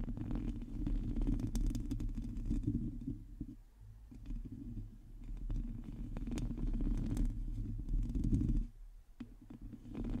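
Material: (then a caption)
Metal mesh. Long teal fingernails on ringed hands grip and scratch a hollow metal mesh microphone grille, producing a dense, muffled, low rumbling scrape with occasional brighter ticks. The sound swells and fades in waves, briefly dropping off near the four-second mark and again shortly before the end.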